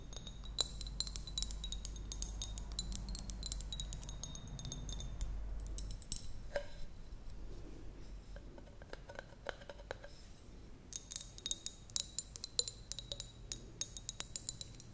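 Long nails tap and scratch on a small, clear glass jar with a metal lid that appears empty. The result is rapid, quiet clicks and scrapes with bright, high glassy ringing tones, over a low background rumble that is strongest in the first six seconds.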